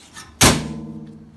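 An aftermarket Dirt Specialties full door on a Commander side-by-side UTV is slammed shut once, giving a sharp bang followed by a tinny, metallic ring near 230 Hz that fades over about a second. The door sounds tinny because its outer panel is loose and unbacked, with a gap between the door frame and the outer panel.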